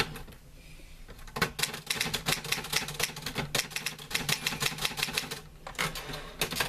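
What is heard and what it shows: Fingertips type on the keys of a green-grey metal portable manual typewriter with paper loaded. After a quiet first second, rapid, bright, sharp clacks follow one another with little ring. They pause briefly near the end, then resume.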